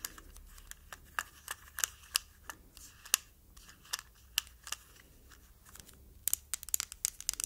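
A palm-sized, hollow, glossy red hard-plastic cosmetic jar shaped like a tomato, with a green stem on the lid, is held in the hands and tapped and scratched with long nails. Sharp, bright, dry clicks come in an irregular series with quiet scratching between them. The taps grow quicker and denser near the end.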